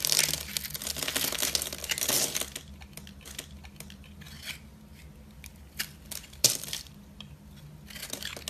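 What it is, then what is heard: Bar soap being carved. A solid rectangular white bar soap, held in one hand, is scored and carved with a metal box-cutter blade, shaving off small cubes. Dense, bright crunching and crinkly scraping fill the first two and a half seconds. It then thins to quieter scattered clicks and crisp snaps, with one sharp crack near the middle and a busier patch of crunching at the end.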